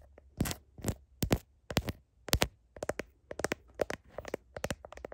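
Long nails tap rapidly on the back of a phone's blue heart plastic case, near the camera, as it is held up to a mirror. Sharp, dry clicks and light scratchy taps come in quick uneven bursts, bright with little low ring, over a faint low hum.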